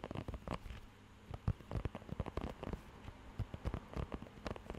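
Fingertips scratch and rub the raised nubs of a blue rubber pet grooming glove held close to the microphone. The result is a quiet, irregular patter of short, dry, crackly taps, heavy in low thumpy tones, with a brief lull near the one-second mark. It sounds much like rain pattering on a surface.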